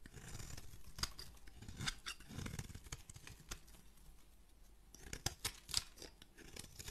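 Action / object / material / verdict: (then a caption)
scrape / solid bar of soap / soap / none. An oval blue and white striped solid bar of soap is scraped flat with a metal razor blade in repeated strokes, with shavings falling away. The clip is a quiet run of dry scraping and crisp, bright crackling ticks over a soft low rumble, with sharper clicks standing out near the start and again toward the end.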